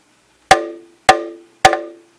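A plastic Klipsch Cornwall IV midrange horn, held free, is tapped by hand four times, the last two taps close together. Each tap rings out with a hollow, pitched tone around 760 Hz that fades over roughly half a second. The undamped horn is noticeably resonant, and this ringing is an unwanted coloration.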